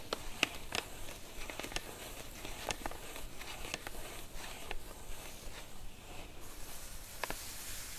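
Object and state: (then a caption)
Padded paper mailer. Long acrylic nails and fingertips tap and scratch across a flat white padded paper mailer (featherpost) lying on a cloth surface. Sharp, bright clicky taps stand out over a steady, soft papery scratching and rustle that continues throughout.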